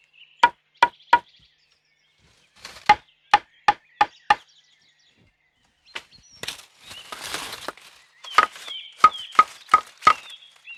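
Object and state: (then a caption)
Bamboo stem holding water. Bamboo stems are knocked to check for water inside, producing short, sharp, hollow knocks with a pitch around 1.2 kHz. The knocks come in quick bursts of three to five, with a stretch of broad rustling noise between the later groups. This stem sounds like it holds water.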